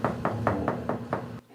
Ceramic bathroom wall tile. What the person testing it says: 비어있는 소리가 아니고 이렇게 꽉 차 있는 소리가 나거든요